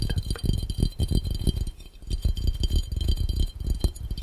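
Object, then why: Round glass fishbowl. Fingertips of both hands tap quickly on a clear, round, hollow, empty glass fishbowl. The result is a dense rattle of soft, low thumps with a faint glassy ring near 3.1 kHz, dipping briefly at about the two-second mark.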